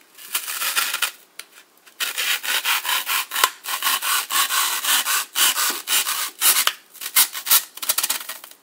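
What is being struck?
Block of floral foam cut with a knife blade.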